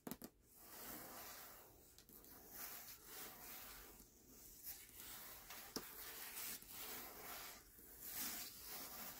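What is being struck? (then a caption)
Hardcover book with paper dust jacket. Fingertips rub and scratch the paper dust jacket of a closed hardcover book resting on a black cloth, moving in slow strokes across the cover. The result is a quiet, bright, hissy scratching that swells and fades with each stroke, with a few small sharp ticks along the way.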